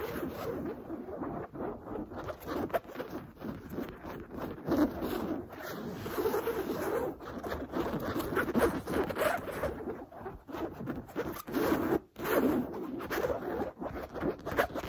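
Long blue nails scratch fast and hard across a soft, stuffed cushion with a smooth cream printed cotton canvas cover. The result is a dense, continuous rasping scrape, full in the low mids with little brightness. Short dry bursts swell and dip with brief pauses throughout.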